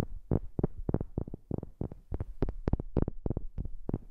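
A wooden object is tapped in a quick, irregular series of about fifteen soft taps, recorded close on a new microphone. Each tap is short and dull, with a low, thumping body and almost no ring.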